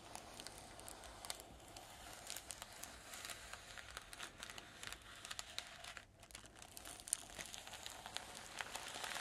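Fingertips and long nails scratch and tap along the near edge of a flat magenta tissue paper sheet lying on a table. The result is a steady, quiet stream of soft, bright paper crinkles and crackles, with many small, sharp taps rising above it.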